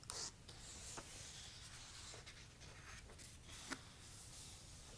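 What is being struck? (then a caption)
Paperback book, paper pages. Fingertips with short painted nails trace and rub across the printed, uncoated paper pages of a thick paperback book lying open on a black cloth. A quiet, steady, bright papery hiss of skin and nail sliding over paper runs throughout. A few brief faint ticks stand out, the sharpest near the end.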